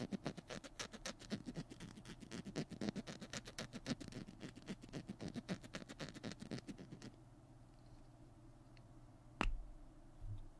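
Fingernails tap and scratch the cap and body of a small, hollow plastic glue stick held in both hands. Rapid, irregular dry clicks and scratches run for about seven seconds. After a quiet stretch, one sharp, bright click sounds, followed by a soft low bump near the end.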